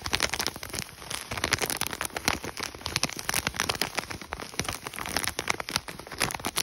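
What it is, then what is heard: Plastic foil food pouch. Fingertips and nails tap rapidly on the front of an Idahoan mashed potato packet, a thin, flexible plastic and foil pouch. Dense, bright clicks and crinkles blur into a steady patter that sounds almost like rain on a surface.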